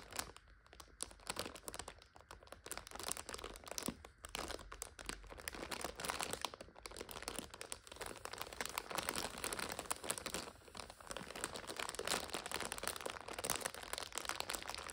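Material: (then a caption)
Plastic film. Long nails scratch and grip a full purple instant noodle multipack in its plastic overwrap, making it crinkle. A dense, continuous stream of bright, crackly plastic crinkles and scratches runs throughout, with little low end, growing slightly louder in the second half.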